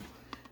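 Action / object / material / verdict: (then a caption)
tap / baked bread loaf / bread crust / hollow. A freshly baked no-knead bread loaf, just out of the oven, is tapped twice. The quiet, short, hollow knocks have a low body and a brief bright edge, and the hollow sound shows the bread is done.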